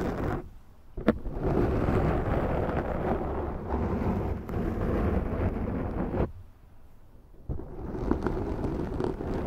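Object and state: Foam microphone windscreen.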